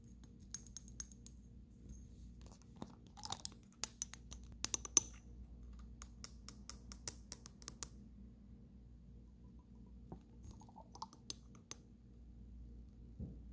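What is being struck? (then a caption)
Small glass dropper bottle. A small amber glass dropper bottle with a paper label and a black dropper cap, holding dark liquid, is handled and tapped on the glass by fingertips and long nails. The result is a quiet series of short, sharp, bright clicks and taps scattered over a low steady hum, with faint scratchy handling sounds between them.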